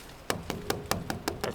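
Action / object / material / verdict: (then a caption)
tap / water delivery pipe / unknown / empty. Seven sharp taps along an empty water delivery pipe near the storage tank, checking how far the water has climbed. Each tap gives a short, hollow knock with a quick decay, and the pipe sounds empty at the tapped spots.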